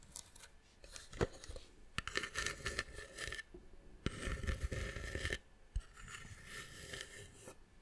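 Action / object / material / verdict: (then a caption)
scrape / small carved wooden box / wood / none. Long nails scratch across the carved pattern of a small, hollow, hand-carved brown wooden box held in the hand. Bursts of dry, bright rasping alternate with quieter pauses, punctuated by sharp ticks and clicks. A faint hollow resonance sits under the scratching.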